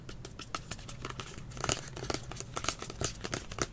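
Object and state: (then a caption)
Plastic spray bottle. Fingertips and nails tap and scratch the label side of a medium green plastic kids' hair spray bottle with a blue nozzle, held hollow in both hands. The result is a quick series of short, dry, crinkly clicks and bright scratching sounds over a faint low rumble, with each tap dying away almost instantly.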